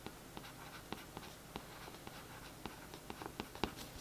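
A thin paintbrush scratches and traces over the printed text on the back of a glossy cardboard paperback book cover lying flat. A quiet, soft, papery brushing hiss runs throughout, broken by about ten short, dry ticks that die away almost instantly.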